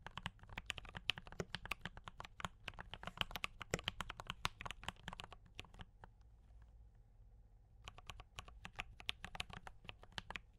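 Fingertips of both hands type on a D84 mechanical keyboard with brown switches and cream and red plastic keycaps. Rapid, bright, clicky keystrokes clatter steadily, stop for about two seconds leaving only a faint low hum, then resume.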